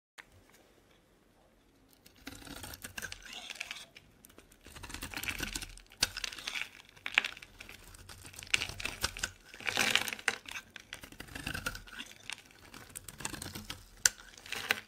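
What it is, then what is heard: Dry bar soap being carved. A solid, dry purple Palmolive soap bar held in the hand is shaved and carved with a metal box-cutter blade, and curls fall off as it goes. After about two seconds of near silence, crisp, bright scraping and crackling strokes come in close succession, swelling and fading in short bursts with sharp little clicks.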